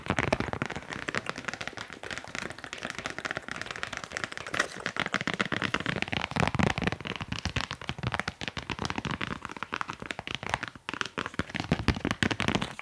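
Fast, aggressive tapping on cork coasters makes a dense stream of sharp, dry, crackly clicks that stop almost instantly. The rapid taps run close together with broadband energy from low thumps up to a bright edge, holding a fairly steady level throughout.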